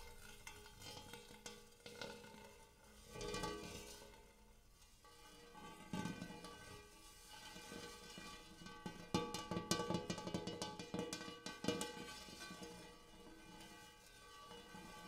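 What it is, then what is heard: Large hammered metal bowl. Fingertips and nails tap and scratch the inside and rim of a large, empty, hammered brass-colored metal bowl. Irregular bright metallic taps and clicks with short ringing tones are mixed with scraping, over faint background noise.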